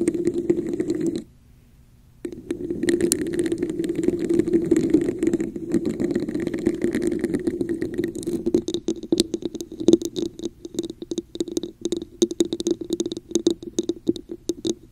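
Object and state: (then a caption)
Textured plastic cup, tapped with nails. Long nails scratch and tap the sides and top of a red, hollow, textured plastic cup held over a microphone, producing a hollow, muffled rubbing with a steady resonant tone around 336 Hz. A brief silence falls near the second mark, then continuous scratching resumes and gives way to rapid, crisp tapping with bright clicks toward the end.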